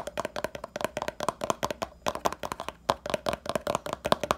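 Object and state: Plastic hair pomade jar.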